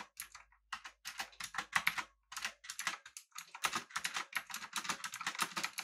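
Both hands type with their fingertips on a full-size, backlit, typewriter-style mechanical keyboard with an aluminum body and round plastic keycaps. The result is rapid, bright, clicky keystrokes that fall in quick bursts separated by brief pauses, each click short and dry with very little ring.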